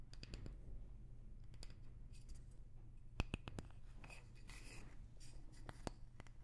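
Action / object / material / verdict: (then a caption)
tap / small wooden block tapped with fingernails / wood / none. A small, light wooden block is held close to the microphone and tapped with long nails. Quick, sharp clicks and faint scratchy brushing sit over a steady low hum, with one brighter tap standing out near the middle.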